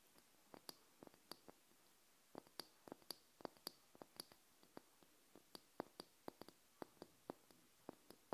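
Long nails tap a small open glass candle jar filled with wax, held in the hands. Roughly two dozen quiet, sharp clicks come at an uneven pace, each dying away almost instantly with a bright, high glassy tick and no lingering ring.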